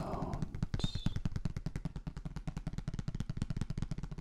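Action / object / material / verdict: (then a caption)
tap / thin plastic folder / plastic / none. A thin, flat, hollow transparent blue plastic folder is held up in front of binaural microphones and tapped and handled with the fingertips. Rapid, irregular, dull taps fall about two per second in a drum-like patter, mostly low and boomy with short decays, and a brief brighter crinkle comes near the start.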